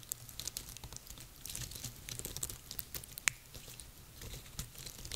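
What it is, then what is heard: Dry pine cones. Long painted nails and fingertips scratch and tap the scales of a small pile of dry, woody, hollow-scaled pine cones on a table. The result is a quiet, steady stream of dry, crinkly scratching with many sharp, bright clicks and ticks, one standing out near the end. A faint low hum runs underneath.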